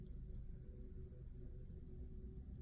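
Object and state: Nothing is struck.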